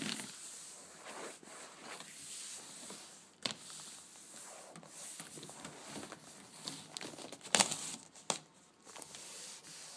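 Long nails tap and scratch the top and side of a hollow, flat rectangular cardboard gift box wrapped in black-and-white checkered paper and resting on wicker. Soft, bright papery scratching and crinkling runs throughout, broken by a few sharper, louder taps that die away almost at once.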